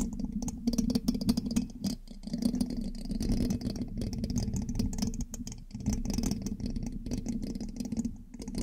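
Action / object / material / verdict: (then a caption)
scrape / metal mesh microphone grille scratched with a thin metal pin / metal mesh / none. A thin metal pin held in the fingertips scratches and taps across the hollow black metal mesh grille of a large USB microphone. The result is a dense, close rattling scrape with quick ticks, heard as a steady low hum-like texture near 240 Hz. The level dips briefly around the 2-second and 5.5-second marks.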